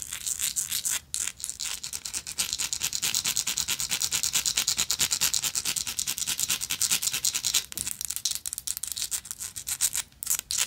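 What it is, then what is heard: Textured metal lighter being scratched. A small, hollow vintage gold-tone metal lighter with a woven texture is held in the hand and scratched and tapped with long acrylic nails. The result is a fast, dense stream of bright, dry scratches and light clicks with very little low end, pausing briefly a few times before carrying on.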